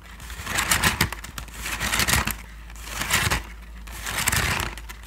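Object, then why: Woven bamboo sticky rice basket. Fingertips and long nails scratch and tap the woven surface of a medium-sized, hollow Thai sticky rice basket made of bamboo strips, held in both hands close to the microphone. Dry, bright, crackly scraping comes in uneven swells over a steady low hum, with quick taps mixed into the rasping texture.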